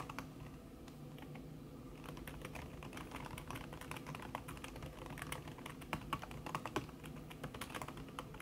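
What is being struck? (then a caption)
Laptop keyboard with silicone key cover. Fingertips with long red nails type fast on a backlit laptop keyboard in a silver aluminum body, its keys covered by a thin red silicone skin. The result is a steady, dense stream of soft, muffled clicks that die away almost instantly, with a low, thumpy base under faint bright ticks. A few louder taps stand out toward the end.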